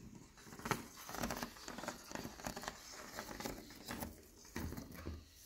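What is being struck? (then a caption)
Leaded stained glass window panel. Fingernails tap a leaded stained glass window panel of textured clear, green and pink glass, and fingers and a palm rub over its surface. Quiet, short, bright taps with almost no ring are mixed with soft, scratchy rubbing patter.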